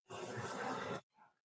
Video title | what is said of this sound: Everything you NEED to know about TERMITES - Orange County, CA | if you listen on this one you can hear it's Hollow